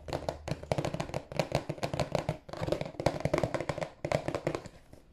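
A hollow, rectangular, glossy marble-printed cardboard tissue box, held in both hands, is tapped on its broad face with fingertips and nails. The result is a quick, steady run of short, dry, hollow taps with a low-mid resonance around 555 Hz. Each tap dies almost instantly, with brief pauses between the bursts.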